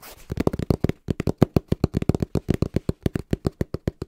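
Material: Cardboard.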